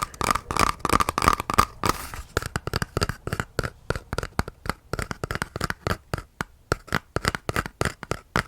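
An empty cardboard toilet paper tube, its paper used up, is tapped by hand as a reused ASMR tapping item. It gives a rapid, uneven run of dry, hollow taps with a papery tone around 1.2 kHz and no ring, plus a brief scratchy rustle partway through.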